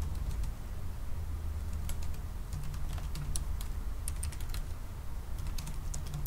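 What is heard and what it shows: Both hands slowly tap with their fingertips on the black plastic keys of a silver aluminium laptop keyboard. Light, bright clicks come at an unhurried, uneven pace over a steady low hum that dominates the clip.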